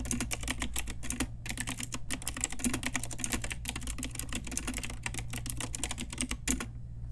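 Long nails and fingertips type steadily on an Ajazz pink retro typewriter-style mechanical keyboard with round plastic keycaps. The keys give a rapid run of sharp, bright clacks over a steady low hum, with short pauses between bursts. The typing stops just before the end, leaving only the hum.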